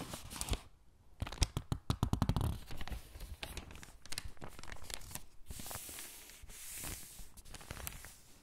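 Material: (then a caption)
Glossy paper. A thin glossy paper catalog lies open flat on a dark table, its pages already crinkled. Fingertips with long pink nails press, rub and squeeze the pages, then turn them. The result is a dense run of sharp crinkles and crackles with soft, swishing rubs between them.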